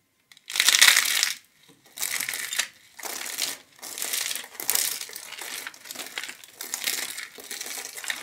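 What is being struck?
Thin soap plates.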